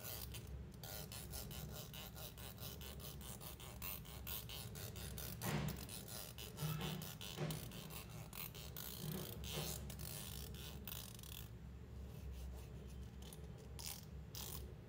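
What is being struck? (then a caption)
Plastic hair comb. A fingernail flicks and scratches across the fine teeth of a long, solid white plastic hair comb, producing a rapid, continuous stream of dry clicks and rasping ticks. A steady low hum sits underneath, and a few louder, brighter scrapes stand out around the middle of the clip.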